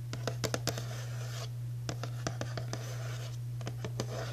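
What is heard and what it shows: Long natural nails and fingertips tap and scratch across the front panel of a hollow, printed cardboard Archway Dutch Cocoa cookie box held in the hand. Sharp, bright clicks land in uneven bursts over soft, papery scratching, while a steady low hum runs underneath throughout.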